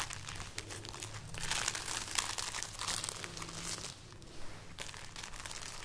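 A string of dried red chili peppers is held up and rubbed and scratched with painted nails and fingertips, producing dense, dry crinkling and crackling with bright, papery rustles. The texture swells louder in the middle and eases off toward the end, over a faint steady low hum.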